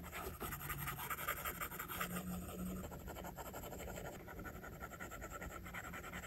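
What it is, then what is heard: Stylus drawing on a glass tablet screen. A plastic stylus tip draws line strokes on an iPad's glass screen, making soft, quiet scratching and tapping sounds. The repeated rubs and taps form an even, writing-like texture with a faint hum beneath.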